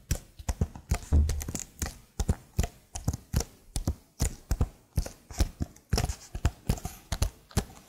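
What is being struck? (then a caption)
Plastic laptop keyboard. Long nails tap the keys of a plastic laptop keyboard held beside the microphone in a steady, slightly irregular rhythm. Each tap is a short, dry click with a soft low thud beneath it and almost no ring, with bright clicky edges on the sharper strikes.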